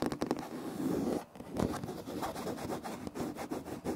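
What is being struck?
Wood-look laminate floor.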